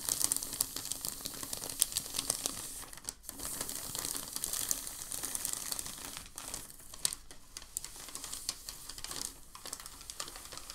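A hand presses and rubs a large, creased sheet of crumpled packing paper, then lifts its edge, making it crinkle. The sound is a dense stream of bright, crisp crackles with a brief near-silent pause around three seconds.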